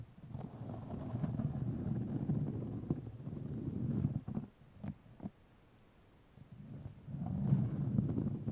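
Long nails scratch white fiberglass grid mesh tape wrapped around a microphone, making a dense, low, rumbling scrape with a coarse, muffled texture and a few sharper clicks. The scratching drops to near silence for about a second and a half midway, then resumes louder.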